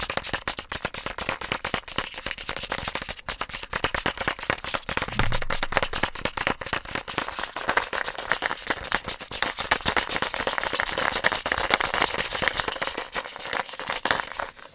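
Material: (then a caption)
Plastic. Fingertips and nails rapidly tap and scratch the shell of a small, hollow yellow plastic Easter egg held close to the microphone. The result is a dense, continuous stream of crisp, bright plastic clicks and scratchy rustling, with little low end and a light hollow resonance.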